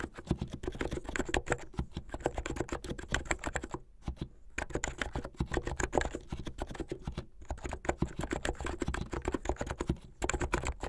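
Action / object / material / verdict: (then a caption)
tap / plastic mechanical keyboard / plastic / none. Fingertips with medium painted nails type fast on a plastic mechanical keyboard with white and blue plastic keycaps. The result is a steady stream of short, dry, clacky keystrokes, weighted toward the low end with little brightness. Brief pauses fall around 4 and 7 seconds.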